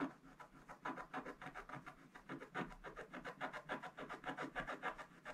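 A wooden stick scratches the black coating off a gold scratch-art paper page in rapid strokes. It makes a dry, quiet rasping that rises and falls about three to four times per second. The scratching is mostly mid-range with a little brightness and little low end.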